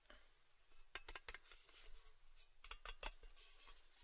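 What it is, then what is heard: Thin metal tin lid. A small, round, red Baileys tin lid of thin, hollow sheet metal is held in both hands and tapped and scratched with fingertips and short nails. Quiet, scratchy rustling is broken by a series of sharp, bright metallic taps, each ending in a very brief tinny ring.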